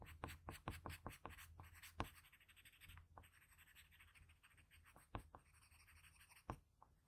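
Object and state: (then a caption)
Graphite pencil scratching on drawing paper. A patterned blue wooden graphite pencil scratches across a flat sheet of drawing paper, shading around the eye with short strokes. A quick run of sharp, separate scratches up front gives way to softer, continuous shading rasp with occasional louder strokes, all over a low steady hum.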